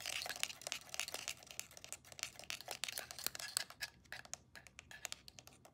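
A black Canon DSLR with a plastic body and its lens cap on is held in the hands while long nails tap rapidly on the lens and body. The result is a fast, irregular stream of dry, bright clicks and ticks with almost no low end and no ring, easing off to sparser, quieter taps toward the end.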